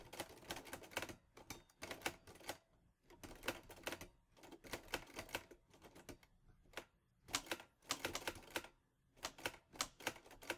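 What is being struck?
Metal manual typewriter.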